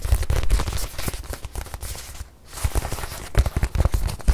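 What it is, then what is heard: Leather watch pillow. Fingertips and long nails tap and scratch the surface of a small white leather watch pillow held in hand. Quick, dull taps come in a dense run with soft scratchy texture, pause briefly just past the midpoint, then resume with a few firmer knocks.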